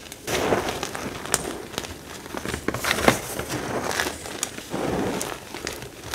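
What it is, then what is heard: Crushed gym chalk, dry and crumbly. Fingertips rake, rub and crush a heap of finely crumbled, dry, powdery pale green-white gym chalk. The result is a steady, dry crackling and crunching with bursts of sharp, bright clicks and gritty rustling as the small pieces break apart.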